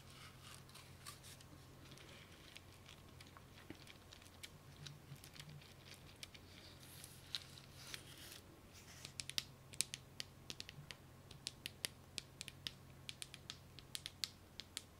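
Long nails scratch and rub across the rows of a hand-sized, solid spool wound with a string of small gold plastic beads and capped with white plastic end flanges. The result is quiet, bright, dry scratching dotted with dozens of sharp, quick clicks that grow more distinct toward the end, over a steady low hum.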